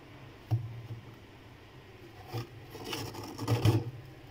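Fingertips with red-painted nails scrape and rub thick, solid frost built up inside a freezer, breaking off clumps. A sharp low knock opens the clip, followed by muffled rubbing and then louder bursts of gritty, crunching scrapes with bright icy crackle. The sounds are dominated by a dull low thud from the contact.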